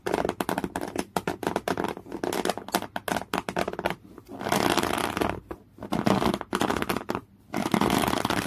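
Fingernails scratch fast and aggressively at folded, thick beige woven cotton canvas. The result is a dense run of short, rough, broadband scraping strokes, some in rapid bursts and some in longer grinding stretches, separated by brief pauses.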